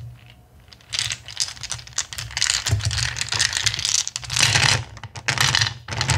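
Hands rake and rummage through a full bowl of small, solid, clear acrylic gem stones after a handful is held in the palm. The result is dense, bright clicking and rattling in irregular bursts, with a faint low hum underneath.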